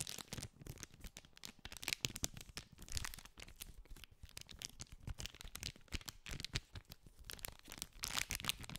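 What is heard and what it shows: Fingertips scratch and crinkle the clear plastic cellophane wrap around a small green cardboard candy pack, close to the microphone. Dense, bright crackling and crinkling bursts come in quick irregular clusters, with soft low thumps from the handling underneath.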